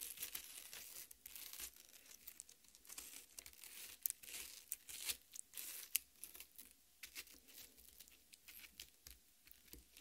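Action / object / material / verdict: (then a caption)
scrape / cut watermelon half / fruit flesh / none. Long red-painted nails on both hands dig into and scratch the red, juicy flesh of a large, solid cut watermelon half with green rind, resting on a metal plate. The result is a quiet, bright, wet crackling and tearing: dense bursts of short, crisp scratches with a few sharper peaks, and almost no low end.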